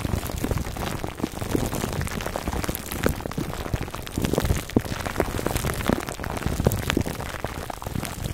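Fingertips and short nails scratch clear plastic film wrapped around a foam microphone cover, working on both sides. A steady, dense crinkle with a heavy low rumble is dotted with many sharp, quick-fading clicks and pops, similar to rain pattering on a surface.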